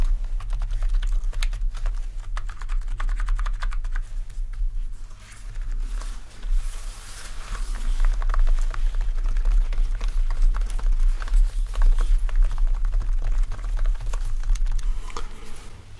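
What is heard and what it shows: A full-size black plastic backlit RGB membrane keyboard is typed on, with fingertips pressing and tapping keys and some single-finger pokes. The result is a steady stream of soft, irregular clicks and taps over a constant low hum.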